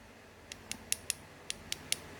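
A lime-plaster Buddha amulet turned to its other side is tapped seven times, each tap a short, bright click with almost no ring, spaced about every quarter second. The clicks sound hard, as expected for hard lime plaster, though whether the lime is a mixed blend is not known.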